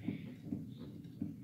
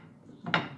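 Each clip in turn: First: piano key cushioned on felt, muffled. Second: piano key knocking on bare wood, missing felt.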